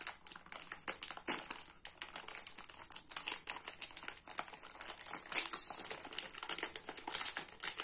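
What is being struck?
Foil-wrapped soap bar pack.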